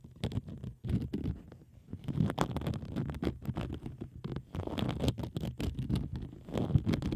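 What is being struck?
Plastic bubble wrap sheet.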